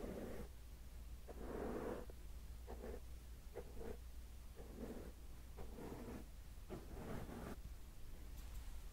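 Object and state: Nothing is struck.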